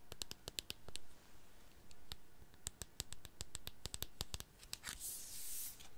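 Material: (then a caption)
Plastic. Long painted nails scratch and tap the body and pump head of a medium, hollow white plastic foam-pump bottle whose fill is not visible. A quick, uneven run of sharp, dry clicks with bright high edges mixes with soft scratching. Near the end comes a brief, brighter, hissy scrape.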